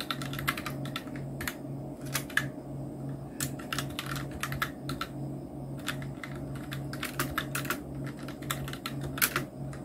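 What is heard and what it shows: Fingertips of both hands type on a full-size black mechanical keyboard, a Nubwo Illusion NK-70 with Outemu red switches, round plastic typewriter-style keycaps and blue backlight. Steady, rapid plastic clacks with bright tops sit over a constant low hum.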